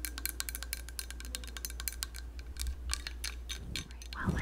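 Long yellow nails tap rapidly on a hollow yellow plastic hand-held lemon squeezer with a perforated cup. The taps are bright, short clicks with almost no ring, over a steady low hum. Near the end comes a brief rougher rustle.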